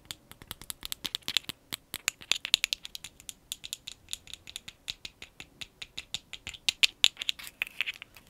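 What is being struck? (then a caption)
Small frosted glass cosmetic jar with lid. Long acrylic nails tap and scratch quickly over a small, round frosted glass cosmetic jar with a lid that is held up. The result is a rapid, uneven patter of dozens of short, bright clicks, each with almost no ring and no low end.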